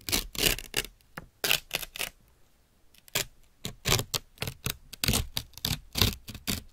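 A thin, white, wrinkled sheet of paper, held up between the fingers of both hands, is pulled, crinkled and torn with the fingertips and nails. Short, bright crackling bursts come in quick succession, with a brief near-silent pause in the middle before the rustling and tearing resume.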